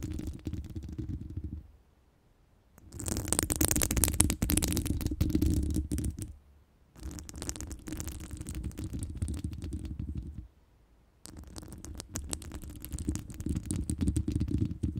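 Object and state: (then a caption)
Metal mesh microphone grille scratched with nails. Long stiletto nails scratch across a round, hollow metal mesh microphone grille, producing a dense, rasping scrape with a heavy low rumble and a bright, hissy top. The scratching comes in four sustained bursts separated by brief silences.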